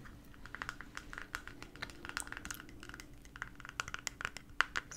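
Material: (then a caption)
Plastic. A small, white, round, flat-lidded plastic cream jar with a blue printed cartoon label, apparently hollow, is held in one hand and tapped rapidly with long manicured nails on its lid and side. The result is a quick, uneven stream of light, bright clicks with a slight ringing tone around 1.4 kHz, each dying away almost instantly over a faint, steady low hum.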